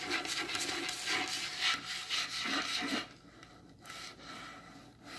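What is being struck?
Varnished wooden table top.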